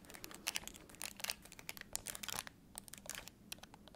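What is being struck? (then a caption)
Plastic TV remote control. A black, hollow, handheld-size plastic TV remote is held in one hand and tapped and scratched on its button face and body with long acrylic nails. A rapid, irregular run of crisp, bright clicks and scratchy rustles follows, each tap short and dry with no ring. The sound stays quiet and thin, with almost no low end.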